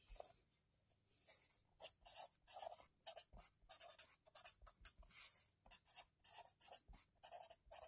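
A marker pen writes lines of text in an open wire-bound lined paper notebook lying on a table, its tip rubbing and scratching over the paper. Quiet, bright scratchy strokes come in quick bursts, with a soft mid-range body under each stroke and almost no low end.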